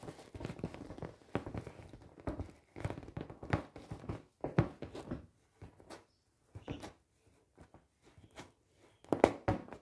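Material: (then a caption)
Vinyl. A large, clear, inflated and hollow PVC vinyl beach ball with colored dots is tapped on its taut surface by long painted nails. Short, dull thunks and taps sound in irregular clusters, with quieter gaps between them. Each tap dies away almost at once.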